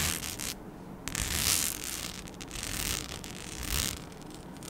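A flat, palm-sized sheet with holes, studded with rhinestones and made as a mic skin, is scratched with long nails. Dense, bright scratching and rustling textures rise and fall in short bursts over a soft noisy bed.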